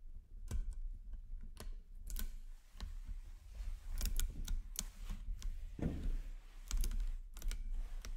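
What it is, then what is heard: Nickel-plated magnet cubes and balls clicking together. Fingertips feed a long chain of small, solid 10 mm nickel-plated magnet cubes and spheres so that it wraps in a ring around a microphone. The pieces click and snap together in quick, bright, irregular ticks over a steady low rumble. A fuller, softer clack comes near the middle.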